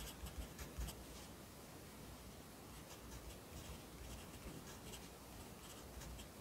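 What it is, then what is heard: Pencil writing on notebook paper. A yellow pencil writes on the right-hand page of an open lined paper notebook resting on a desk, just after a new page is turned. Quiet, uneven pencil scratches sit over a steady low hiss, with a few slightly louder strokes near the start.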